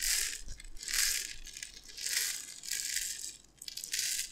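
A gold-lidded glass jar full of dry tapioca pearls is held in both hands and shaken and tilted, so the pearls pour from side to side inside. It gives a bright, hissing rattle that swells and fades in repeated waves as the pearls slide back and forth, with little low end.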